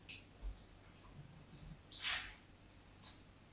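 A craft knife blade scores lines into the top of a solid white embossed bar of soap held by fingertips with short yellow nails. A few quiet, bright scratching strokes are heard, the longest and loudest a brief crisp scrape near the middle, each fading quickly against a low background.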